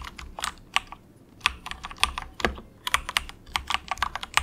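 Fingertips of both hands type softly on an inexpensive compact 68-key plastic mechanical keyboard with a hollow case, resting on a desk mat. Short, bright, hollow clacks come in uneven bursts with brief pauses, each click dying away at once with little low end.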